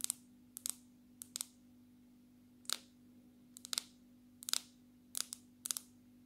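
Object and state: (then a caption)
Smartphone glass screen and case tapped with fingernails. Long natural fingernails tap and lightly scratch a black smartphone with a glass screen in a glass and plastic case. Quiet, bright, very short clicks come in small clusters of two or three, spread irregularly over the clip, over a faint steady low hum.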